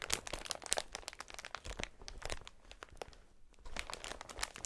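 A clear plastic air-cushion packaging sheet is held against the chest and pressed and rubbed with the fingertips of gloved hands. Dense, bright crinkling and sharp little crackles fill the clip, easing briefly just before the last second before picking up again.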